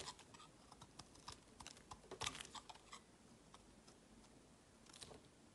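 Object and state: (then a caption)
Bar soap being shaved with a knife. A metal utility knife shaves curls from the edge of a palm-sized, solid, round white bar of soap with a ribbed pattern. Quiet, crisp, bright scraping ticks come in an irregular series, with a denser burst of cuts near the middle and a faint hiss between them.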